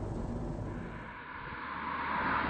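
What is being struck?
Nothing is struck.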